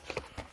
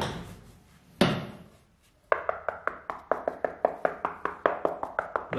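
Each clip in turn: First: solid floor screed, not hollow. Second: slightly hollow cracked floor screed.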